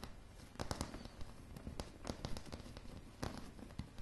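Long polished nail tips tap across solid, light pine floorboards in a quick, uneven run of short strikes. Each tap gives a dull, low knock with a faint bright click and dies away almost at once, leaving a soft, quiet rustle between the louder hits.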